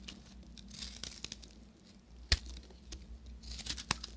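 A solid beige dry soap bar with a copper crust is carved and scraped with a short metal knife. Quiet, dry scraping and crumbly tearing textures are broken by a few sharp, bright cracks, one much louder than the rest. A steady low hum runs underneath.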